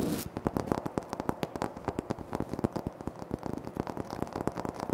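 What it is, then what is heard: Granite floor tile. Fingertips tap rapidly on a flat, solid, speckled granite floor tile while fingernails scratch across its surface. The clip is a dense run of short, dry, crisp clicks that die away almost instantly, with a soft, gritty scraping noise filling the gaps between taps.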